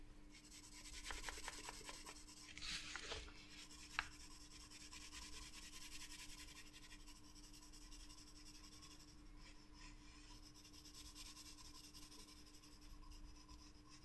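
A graphite wooden pencil, held in a hand with long yellow nails, scratches and shades across the page of a spiral-bound paper sketchbook lying flat with a loose paper sheet over part of it. The strokes are continuous, with soft, bright scratching and rubbing over a low steady hum and a single sharp tick near the four-second mark.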